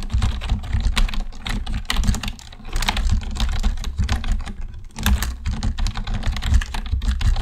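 Fingertip typing with both hands on a black plastic computer keyboard produces a dense, continuous stream of short, sharp key clicks with bright tops. A steady low hum runs underneath the clicks throughout.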